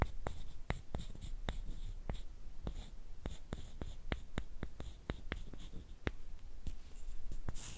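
Two thin, flat, light wooden sticks, solid and about hand length, are rubbed together. The result is a quick series of sharp, dry clicks and ticks with bright, crisp edges, set over a soft, low background hum.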